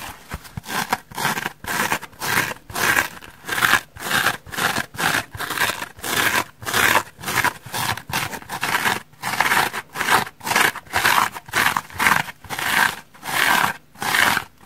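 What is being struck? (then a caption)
Polyurethane foam sponge. A dry, hand-sized, porous polyurethane foam sponge with rainbow stripes is scratched and squeezed with long red nails and fingertips. A steady run of short, bright, raspy scratching bursts repeats at a loose rhythm of roughly two per second, each with a quick, dry decay and almost no low end.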